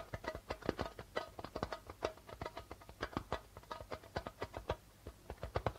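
Fingertips and nails tap quickly on the white plastic membrane of a hollow darbuka drum, producing a rhythmic run of about thirty short, dry taps. Each tap carries a mid-pitched tone around 355 Hz with a light low thump and dies away almost at once.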